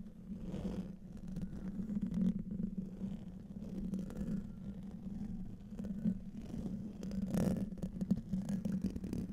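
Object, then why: Metal mesh microphone grille. A hollow metal mesh microphone grille is scratched and tapped with nails and fingertips while rings are worn, producing a steady, dense stream of close scratching and light tapping. The sound sits mostly low, with a strong hum-like band near 190 Hz, and occasional brighter crackles rise above it in irregular surges.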